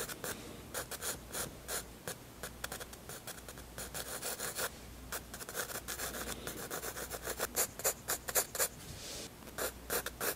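A 7B graphite pencil held in the hand scratches and rubs across the white paper page of a spiral-bound sketchbook lying flat on a wooden table in sketching strokes. Quick, irregular bursts of bright, dry, raspy scratching follow each other with little ring, over a faint low hum. The strokes grow slightly louder and more pronounced toward the end.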